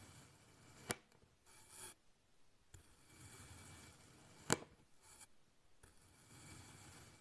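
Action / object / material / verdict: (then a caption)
scrape / kinetic sand block cut with a kitchen knife / kinetic sand / none. A black kitchen knife slices thin layers from a solid pink kinetic sand block, and the layers fall over in a row. Quiet, crumbly cutting and scraping is broken by two sharp, short clicks.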